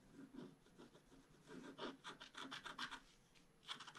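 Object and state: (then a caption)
Scratch-art paper sheet. A bamboo stylus scratches the wing area of a flat scratch-art card page held flat, making soft, dry rubbing and rasping strokes. Quiet, brief scratches cluster into bright bursts, with some lower, duller strokes between them.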